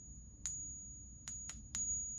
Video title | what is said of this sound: Unboxing RARE Rebellion Silver! Should You Stack It?!? #Silverstacking #Silver #Unboxing #Gold #Ag | hear that resonation? That's how I know it's silver.